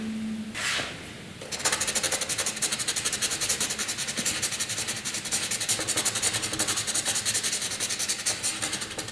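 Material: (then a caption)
Paper. A graphite pencil scratches across a flat sheet of white drawing paper in heavy, dense shading strokes. After a faint low hum and a single soft swish, a steady run of rapid, bright, raspy back-and-forth strokes fills the rest of the clip.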